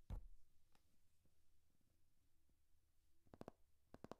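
Fingernails tap and scratch on a thick hardcover paper textbook, a solid paper block, across its cover and page edges. A sharp tap opens the clip, followed by soft, low scratching and faint ticks. It ends with a quick cluster of dull, crisp taps that die away almost instantly.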